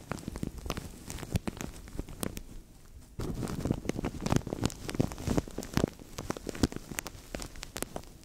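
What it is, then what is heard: Thin plastic bag crinkled over a microphone. A translucent thin plastic bag stretched over a microphone is scratched, squeezed and crinkled by fingers, giving a steady stream of dense, sharp crackles and pops. The sound sits mostly in the low range with short bright snaps, grows quieter briefly before three seconds, then comes back louder and busier.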